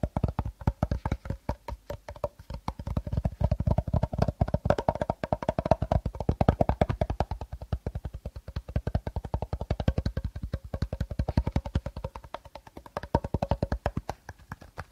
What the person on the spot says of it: Tapping, Scratching & Rustling Sounds - Playing with Plastic Bottle